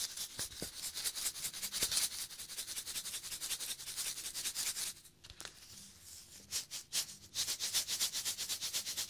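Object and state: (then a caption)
Cardboard snack tube. Fingers scratch and rub a small cardboard Pringles can with its lid off, working over both the tube and its foil top. The result is a bright, rapid, papery scratching with almost no low end. It quiets to a faint rustle for a moment midway, then picks back up at full strength.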